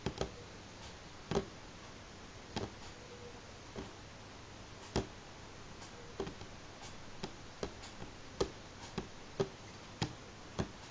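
Fingernails from both hands tap slowly on a solid light pine tabletop, making thirteen short, dry clicks spaced unevenly over a quiet background. Each tap is brief with a slight woody midrange tone and almost no ring.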